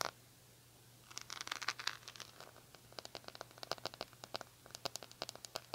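Long nails scratch over the rhinestone-covered plastic back of an oval hair brush with a silver metal-look handle. After about a second of quiet, a dense burst of bright, dry scratching clicks comes, followed by a steady run of quick, crisp ticks over a faint low hum.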